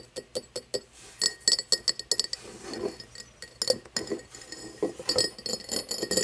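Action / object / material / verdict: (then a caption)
tap / cut glass tumbler / glass / none. Long nails tap and scratch the side and bottom of an empty, hollow cut-crystal tumbler lying on its side, which is then turned to show its base. A run of quick, bright glassy clinks with a short ring is heard, separated by softer scratching passages.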